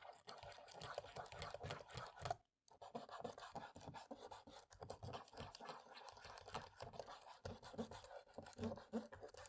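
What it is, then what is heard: Plastic laptop keyboard. A cotton swab rubs into the gaps between the black plastic keys of a dirty laptop keyboard, with a long-nailed hand resting on the palm rest. The result is a steady, dense run of soft scratchy rubbing and tiny dry clicks. There is a brief silent break around two and a half seconds in.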